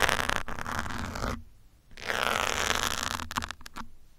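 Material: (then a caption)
Foam. A metal pin scratches across the top of a grey foam windscreen on a black microphone. Two long, dense, bright scratching passes are separated by a near-silent pause, followed by a few short, sharp scrapes that fade out.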